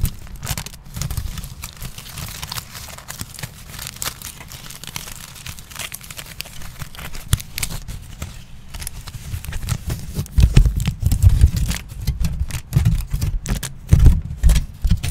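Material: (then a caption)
Aluminium foil. A crumpled sheet of aluminium foil is unfolded and flattened by hands, giving a steady stream of dense crinkling and crackling with bright, sharp edges over a low rumble. From about ten seconds in, the handling grows louder, with stronger crackles and deeper thumps as the foil is pressed flat.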